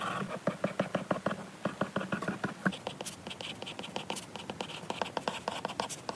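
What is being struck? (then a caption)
Glass tablet screen with stylus. A lilac stylus tip colors and writes on a glass iPad screen, making a quick, uneven run of short scratch and tap strokes on the glass. Early strokes carry a low, muffled knock, and the later taps turn brighter and clickier. Each stroke is dry and dies away almost at once.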